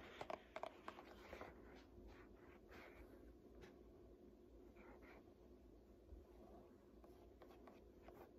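Long nails tap and scratch the glossy printed paper pages of an open "Art History" textbook resting on a lap. A quick cluster of sharp, bright taps comes first, followed by quieter, steady scratching and rustling along the pages.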